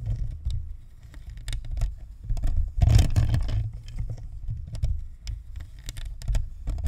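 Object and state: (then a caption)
Plastic USB microphone. A white, hollow, spherical plastic Blue Snowball USB microphone with a perforated grille is scratched on its top and sides with the long nails of both hands. The close scraping comes through as deep, muffled rumbles and soft irregular taps, with a louder, brighter burst of scratching near the middle.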